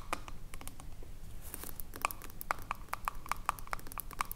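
Long acrylic nails tap and scratch a small, full glass jar of pale green body lotion with a silver metal screw lid. Quick, crisp clicks with a short ringing tone around 1.2 kHz are broken up by brief bright scratching, all at a soft level over a low background hum.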